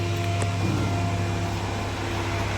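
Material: Nothing is struck.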